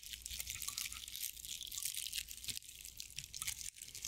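A hand-sized straw decorative owl figurine made of dry straw or sisal-like fibers is held in both hands while long nails scratch and rub its fibrous body. The result is a steady stream of crunchy, bright crinkles and scratches, almost all in the high range, with brief pauses between strokes.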